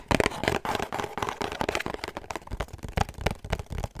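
A small, hollow pink cardboard perfume gift box with a black ribbon is held in the hands and tapped and scratched with fingertips and short nails. Quick, dry, crackly taps and scratches come in an uneven run with almost no ring, each leaving a hollow papery knock.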